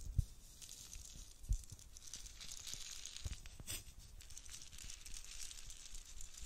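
A clear, hollow plastic dome lid filled with loose pastel beads is held in both hands close to the microphone, then shaken and tapped with long nails. The beads rattle in a steady, bright, crinkly hiss, with a few soft low thumps from the handling standing out above it.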